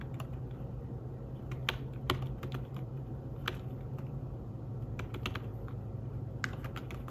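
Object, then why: Fabric-covered tablet keyboard. Fingertips tap on the keys of a thin, flat, grey fabric-covered folio keyboard for a tablet. Soft, short, dull clicks come at an uneven typing pace, with a few sharper taps standing out, over a steady low hum.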